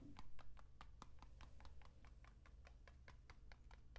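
A long, hollow, painted cardboard rain stick with a mesh-wrapped, capped end and filled with loose grains is held horizontally in both hands and tilted. The grains make a steady run of short, dry ticks and clicks over a low, constant hum.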